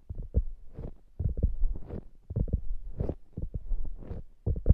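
A soft polyurethane foam squishy hamburger toy is held over the microphones while long nails scratch and tap its top surface. The result is a run of dull, low, muffled thumps mixed with short, airy scratching swishes, mostly deep and bassy, with little high-end brightness.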